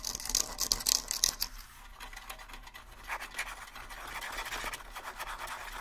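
Fingernails scratch the hide heads of a pair of small, hollow rawhide bongo drums, then shift to one drum. Bright, dry scratching comes in quick, uneven bursts, loudest in the first second and a half. It then settles into a softer, steadier rasp.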